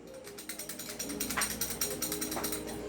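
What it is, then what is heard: Loose rattling casing on a replica gun. The non-upgraded version of a Poseidon Medusa replica gun is shaken, and its loose casing gives a quick run of bright, clicky rattles. The clatter has a steady low hum underneath. The rattle shows that this version's casing is loose compared with the upgraded one.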